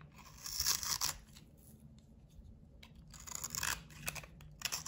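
A box cutter blade scrapes and carves dry shavings off a hand-held solid blue bar of soap coated in glitter and red heart sequins. Bright, crisp scraping and crunching bursts come in three louder passes with quieter rasping between them, with little low-end weight and almost no ring after each stroke.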